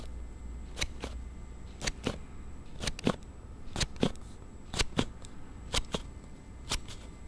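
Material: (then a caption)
Hard plastic. A hard plastic slide case on a Note7 phone is thumbed open and closed again and again close to the recorder. Sharp, bright plastic clicks come in quick pairs about once a second over a low, steady hum.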